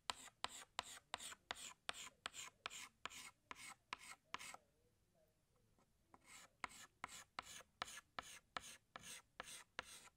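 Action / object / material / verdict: scrape / chalk stick on slate-type blackboard / chalk / none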